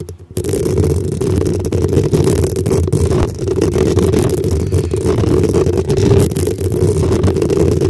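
Long acrylic nails scratch and tap on the hollow black metal mesh grille on top of a desktop microphone. After a brief quiet start, a dense, continuous, close-up scraping fills the clip, with a heavy low rumble and a hollow mid-range tone.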